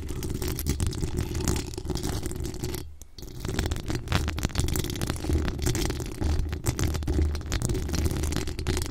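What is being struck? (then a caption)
Metal mesh microphone grille. Long acrylic nails on both hands scratch and tap the hollow metal mesh grille of a desktop USB microphone. The result is a dense, continuous rasping and crackling, with heavy low-end thumps centered near 74 Hz and a brief quieter lull around the three-second mark.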